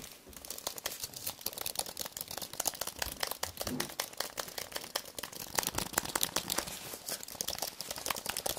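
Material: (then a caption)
Plastic. A thin white wireless keyboard with white plastic keys on an aluminium base is held up in the hands while fingertips and nails tap, press and scratch across the keys. The result is a dense, continuous stream of quick, bright clicks and crinkly scratching with almost no low end.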